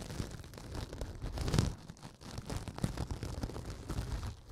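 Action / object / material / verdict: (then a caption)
scrape / synthetic kitchen sponge / synthetic foam / none. Fingers rub and scratch along the surface of a pink synthetic kitchen sponge, solid and soft, held upright beside the microphone. The result is a steady, dense, low-heavy scratchy rustle full of tiny crackles, swelling louder near the middle before easing back down.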